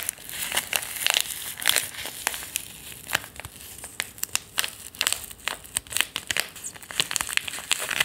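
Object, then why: Foil-lined paper tea sachet. A small, sealed, foil-lined paper tea sachet, thin and flexible, is held between the fingers and crinkled and rubbed with the fingertips. The result is a dense run of bright, dry crinkling and crackling with many short, sharp snaps and almost no low end.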